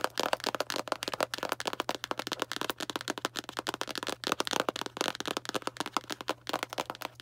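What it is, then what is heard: Cardboard box tapped with nails. Long black nails rapidly tap a small Arm & Hammer cardboard baking soda box. The result is a fast, uneven stream of dry, papery clicks centered in the midrange, with almost no low end and a faint steady hum underneath. Each tap dies away almost instantly.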